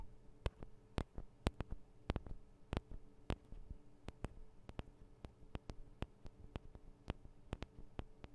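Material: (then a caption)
Metal. Long nails tap on the sides of the small metal microphone capsules of a Tascam DR-40 recorder, making about 25 quiet, sharp, dry clicks at an uneven pace. Each tick is brief and bright with almost no ring, over a steady low hum.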